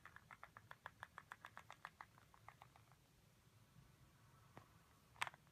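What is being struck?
Plastic pill bottle.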